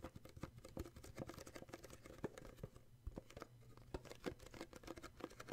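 Fingertips tap and grip the red and printed sides of a small, hollow red cardboard gift box with an illustrated sleeve, held in the hands. The result is a quick, irregular run of soft, dull, hollow taps with a low body, mixed with faint papery rustling and scratching, each tap dying away almost instantly.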